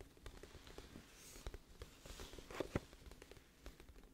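Long nails tap the front surface of a glossy printed cardboard music album case, hollow and flat, held in both hands in front of the mic. A quiet, irregular series of soft, dull clicks and taps rises from a low hiss, each dying away almost at once, with a couple of sharper, louder taps near the end.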